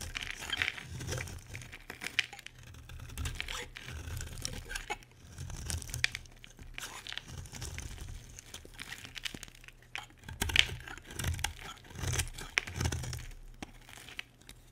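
A solid white bar of soap, held in the hand, is shaved with a utility knife blade into thin curls. The result is a steady run of dry, crisp scraping and crinkling strokes with bright high hiss. Soft low thumps come from the handling, and sharp clicks surface now and then.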